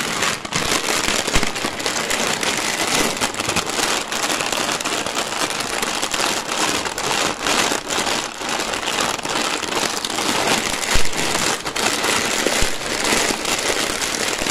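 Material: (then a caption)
Plastic. Fingertips press, squeeze and crinkle a clear plastic zip bag full of colorful dry cereal rings lying on a white table. A steady, dense stream of bright plastic crinkling blends with small crunching crackles from the cereal inside, with no pauses and only brief louder crunches.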